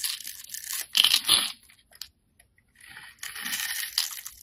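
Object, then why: Soap bar cut with a knife blade. A solid two-tone orange and green bar of soap, held in the hand, is scraped with a utility-knife blade into small cubes. Bright, crunchy scraping and crackling bursts come in uneven strokes, with a short near-silent pause midway before the carving resumes.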